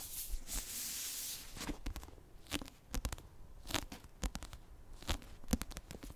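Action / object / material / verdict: scrape / paperback book with cardstock cover / cardstock / none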